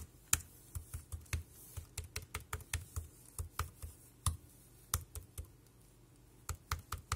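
Bare fingertips type rapidly on a dark grey plastic, low-profile wireless keyboard with round keys, with the sound coming from the key mechanisms rather than the casing. Short, dry clicks sound in uneven bursts, each with a soft low thump and a bright tick that dies away almost instantly. There is a brief pause near the end before the typing resumes.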